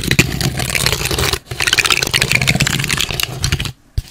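Long red nails scratch and rub along the surface and ridged edge of a long, flat strip of light, hollow-fluted brown corrugated cardboard. The result is a dense, bright, papery scratching with a brief pause near 1.4 seconds and a near-silent gap before one short final scrape.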